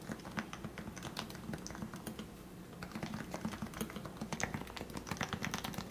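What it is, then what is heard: Plastic Topre keyboard. Fingertips type continuously on a lubricated Leopold FC660C Topre keyboard with 45g switches, a plastic case and plastic keycaps. The result is a steady stream of soft, muted, low keystrokes, each with a short bright click on top and very little ring.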